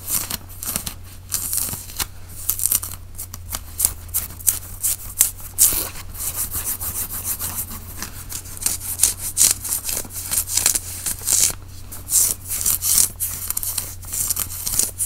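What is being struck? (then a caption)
Cotton t-shirt. Fingers scratch and rub the shoulder and front of a white cotton t-shirt being worn, making dense, bright, rasping strokes in quick irregular bursts. A steady low hum runs underneath throughout.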